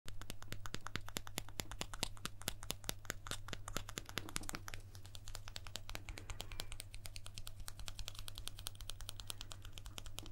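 A guitar pick that was used on stage and thrown into the audience is tapped in a rapid, steady run of short, crisp clicks with bright edges. A constant low hum sits underneath the tapping throughout.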